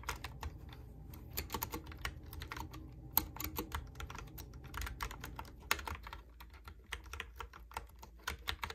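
Fingertips type on a Logitech keyboard with round plastic keycaps, producing a steady run of quick, light plastic clicks and clacks. Each tap is short and bright over a soft low background rumble, with a couple of sharper, louder key strikes standing out.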